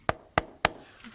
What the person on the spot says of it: Ça sonne toujours creux, donc c'est bon.